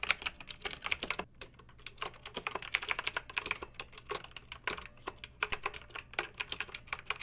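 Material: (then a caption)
Plastic. Long pink nails type on the round, lettered, metal-rimmed keycaps of a backlit plastic mechanical keyboard. The result is a steady stream of sharp, bright clicks and clacks that die out almost instantly, with a short pause near the start.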